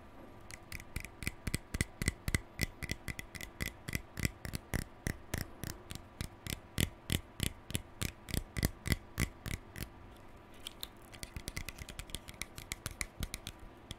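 Fingertips and nails flick and scratch the pale plastic bristles of a lilac plastic hairbrush held in one hand. Dozens of sharp, dry clicks come at an uneven pace of about three to four per second over a soft scratchy hiss, each with a bright top and almost no ring. After a brief lull near the ten-second mark, quicker and lighter flicks follow.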